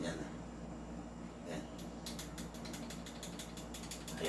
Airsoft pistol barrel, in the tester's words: Ayun, kumakalog. Yung sa akin, dahil upgraded, hindi siya umaalog.